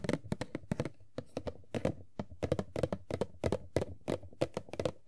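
Long nails tap quickly across the top and sides of an empty, hand-sized printed cardboard Funko Pop box (Tuxedo Mask) with a clear plastic window. Each tap is a short, dry, hollow knock with a low thunk and a bright clicky edge that dies away almost at once, in uneven bursts of quick taps.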